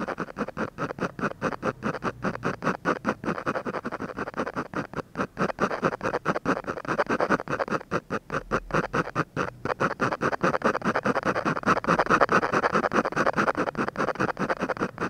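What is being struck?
Paper sheet scratched by a ballpoint pen.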